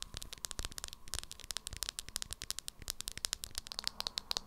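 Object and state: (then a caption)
Plastic cosmetic powder jar. Long acrylic nails tap and scratch the body and black lid of a small beige plastic jar of Revolution 'Banana' loose powder held in the hands. About thirty quick, sharp, bright clicks come in rapid succession over a faint crackly scratching, with each tap dying away almost instantly.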